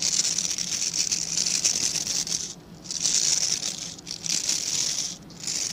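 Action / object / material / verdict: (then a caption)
scrape / synthetic-bristle scrub brush with plastic back / plastic bristles / none. Fingertips and nails scratch the dense, dark synthetic bristles of a hand-sized plastic-backed scrub brush. The result is a steady, bright, crackly hiss with almost no low end. It dips briefly three times, when the scratching pauses, before resuming.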